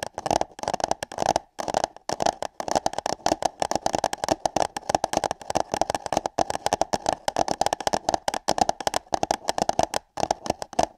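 Long nails tap and scratch on hollow paper cups placed over microphone ears. The result is a dense, rapid stream of crisp, papery taps and scrapes with a hollow resonance around 750 Hz, pausing briefly near 1.5 and 10 seconds.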